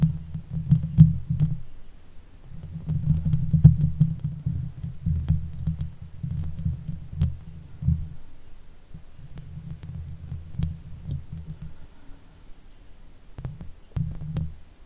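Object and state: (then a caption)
Metal mesh microphone grille being scratched. Long nails scratch the sides and top of the hollow metal mesh grille of a Blue Yeti microphone. The result is a deep, rumbling rasp concentrated in the low range, coming in long bursts with brief pauses and a few sharp, bright clicks over it.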